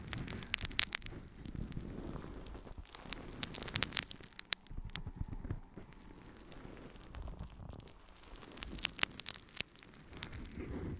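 A yellow, porous natural sea sponge is held in both hands and scratched with long nails. The result is a dense, crackly scratching and rustling with sharp, bright clicks over a soft low rumble, swelling and easing in bursts across the clip.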